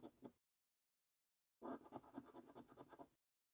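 A coin scratches the latex coating off the panels of a thin paper scratch card. A brief rasping burst is followed by a pause, then a longer run of quick, dry scratching strokes with a bright, papery texture.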